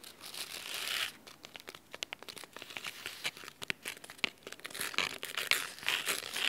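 Fingernails scratch along the cloth spine of a blue cloth-bound hardcover book. The sound is a dry, bright, crinkly rasp, with a longer sustained scrape at the start and a dense run of short, irregular scratches after it. There is almost no low end.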